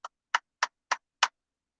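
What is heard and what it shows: Five light taps on the barrel of a heavy but all-plastic BB gun give short, dry, hollow clicks centered around 1 kHz, with almost no ring. The taps sound like plastic rather than metal.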